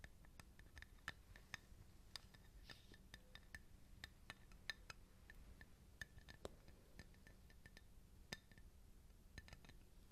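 A cat-shaped ceramic coaster is tapped repeatedly on its ceramic face, producing short, bright clinks with a ringing tone around 1.8 kHz. The clinking contrasts with the muted sound of its cork back. About 29 quick, irregular taps sit over a low, steady background hum.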